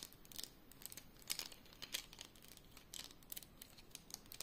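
A handful of about six painted wooden colored pencils, solid thin sticks, is held in both hands above a coloring page, clicked and rattled against each other and tapped with long yellow-painted nails and fingertips. The result is a quiet, irregular stream of short, dry, bright clicks and crinkly rattles with no ring, with a few sharper taps standing out.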